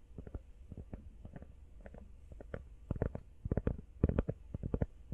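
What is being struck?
Rubber phone case.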